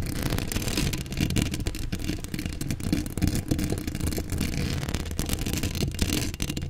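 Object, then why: Steel mesh microphone grille. Long acrylic nails scratch a hollow steel mesh microphone grille in steady, dense strokes. This creates a heavy, booming low rumble under a crackly, bright scraping texture. The scratching stays continuous and fairly even in level throughout.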